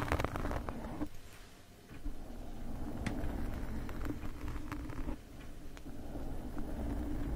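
Two metal forks scratch across the top and sides of a black foam microphone windscreen, making a dense, low, rumbling rustle dotted with faint ticks and clicks. The scratching swells and eases, dropping quieter for brief moments before picking back up.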